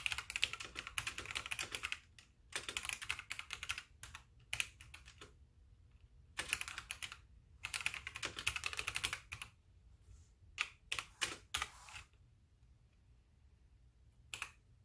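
Fingertips with long dark nails type on a full-size white backlit mechanical keyboard with plastic keycaps while the mouse stays idle. Rapid, bright, clacky keystrokes come in bursts separated by short pauses, each click dying away almost instantly with very little low end.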